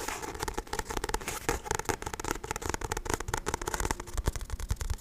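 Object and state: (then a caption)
Paperback book. Fingertips tap and scratch the front and back covers of a paperback book with a glossy card cover. Rapid, uneven soft taps mix with dry, crackly scratching, and the sound stays fairly quiet with most of its weight in the low end.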